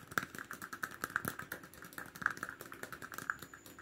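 Fingers rapidly tap and scratch on a plastic cap as a fast ASMR trigger. Dry, short clicks come in an irregular rhythm over a soft scratchy rustle, with a hollow tone around 1.6 kHz. Each click stops almost at once.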